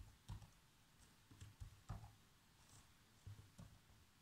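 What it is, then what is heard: Plastic laptop keyboard being typed on. Bare fingertips with short nails tap the keys of a black plastic laptop keyboard in continuous typing. The result is soft, dull, low thumps with light clicky tops, spaced irregularly with quiet gaps between them.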